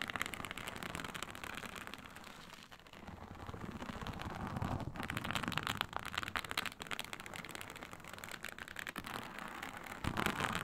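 Long nails scratch across the scales of a large, flat, iridescent blue-purple snake-scale synthetic leather mat lying on a surface. The result is a dense, continuous crackling rasp with fine ticking detail. It eases briefly near the three-second mark, then builds back up, ending in a louder burst of scratching.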